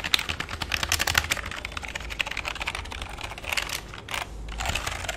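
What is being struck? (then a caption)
Plastic computer keyboard. Fingertips type rapidly on a full-size black plastic keyboard with a hollow body, resting on a lap. A dense stream of sharp, bright key clicks and clacks follows, each snapping off almost instantly over a faint low rumble.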